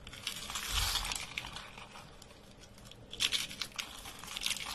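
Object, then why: Thin soap sheets. A thin, brittle, dry beige soap sheet is bent and crumbled in both hands over a pile of soap flakes. It gives bright, dry crackling and crunching, with a loud burst near the start, a quieter stretch of fine crinkling, then a second run of sharp crunches.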